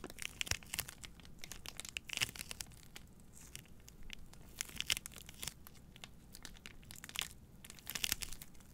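Long nails crinkle and scratch the clear plastic wrap around a bundle of three white cardboard deodorant boxes held in front of a microphone. The sound is a quiet, bright, papery crackle with short, sharp crinkling bursts that die away almost instantly, over a faint low rumble.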